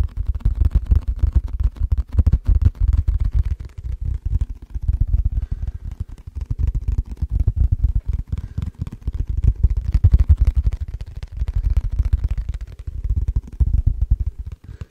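An empty, hollow, transparent plastic food container with its lid on is tapped and scratched with fingertips and nails. The result is a steady stream of rapid, dull, low thumping taps with faint scratchy clicks over them, each tap dying away almost at once.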